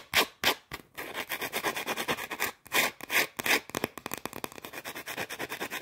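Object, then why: Round shortbread cookie. A small, flat, round shortbread cookie, solid and dry, is held in one hand and quickly scratched and tapped with long orange nails. The result is a fast, uneven run of crisp, bright scratches and sharp taps with almost no low end, each dying away instantly.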